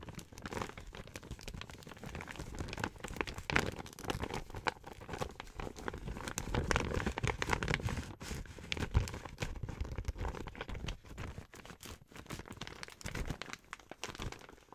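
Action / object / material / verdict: scrape / plastic gift bag / plastic / none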